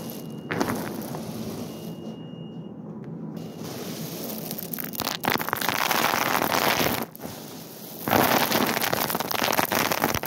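Bare fingertips and palms press into and rummage through loose, hard, small dried white beans piled in a large open wicker basket in a store. The result is a dense, continuous rustling and clicking that starts softer, then swells into louder, brighter bursts after about five seconds. It briefly drops near seven seconds before growing loud again toward the end.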